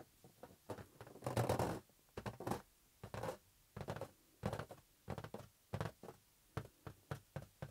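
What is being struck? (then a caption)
Inflated latex rubber balloon. A green, hollow, inflated latex balloon rests in one palm while fingertips rub and tap its surface. The result is a quick series of soft, dull thumps and squeaky rubbing bursts, mostly low and muffled, with brief brighter scrapes and very little ring between touches.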